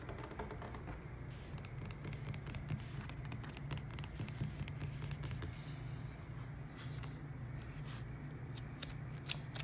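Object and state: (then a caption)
Glossy paper magazine. Fingertips and nails rub and scratch the cover of a glossy paper magazine lying on a wooden table, and a hand handles and lifts its pages. A steady low rumble runs under continuous soft scratching, broken by many brief, crisp high-pitched ticks and rustles.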